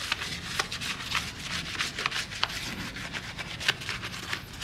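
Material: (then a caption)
Steel. A gloved hand rubs a small round brush over the face of a heavily foamed pressed-steel wheel on a 1993 Honda Civic Hatchback, working around the lug nuts and vent holes. Steady, bright, bristly scrubbing and wet foam hiss run throughout, broken by several short, sharp ticks as the brush catches edges.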